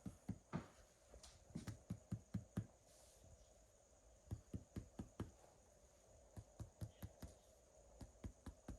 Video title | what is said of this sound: Nur 203 video assessment | So the hollow sounds are all resonant.